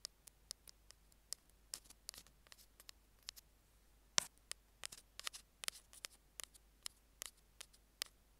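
Metal tweezer tips tap and scrape a small, hollow, white plastic Apple earphone mic remote resting on a jade stone. About nineteen quiet, sharp, bright clicks and brief scratches sound with almost no low end and no ring after each hit, the loudest near the middle.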